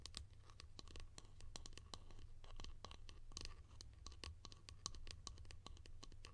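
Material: Plastic.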